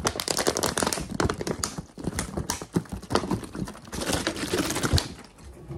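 Fingertips tap and scratch fast along the ridged sides of a clear, hollow, crumpled plastic water bottle that seems empty or nearly so, held up and squeezed. The result is a dense, rapid stream of sharp clicking taps and scratchy plastic crinkles, with a few louder crackles and a softer patch near the end.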